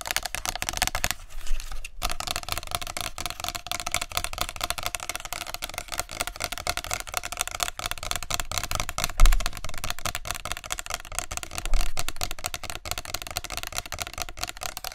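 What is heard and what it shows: A tall clear plastic body mist spray bottle with a green cap and label, held upright in both hands, is tapped rapidly with long nails along its body. The result is a dense, steady stream of crisp, bright plastic clicks with a low hum beneath. A few taps stand out louder around 1.5, 9 and 12 seconds.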